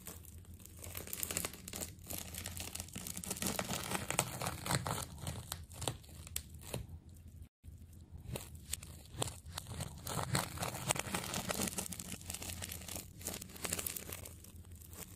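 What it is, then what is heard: Plastic tape ball being cut. A knife cuts and scrapes into the layers of a large, solid, cut-open ball of multicolored layered plastic adhesive tape held in one hand. The result is a continuous stream of crackling, tearing and crinkling sounds with a low rumble underneath and bright sticky rasps on top. The sound cuts out briefly at about 7.5 seconds.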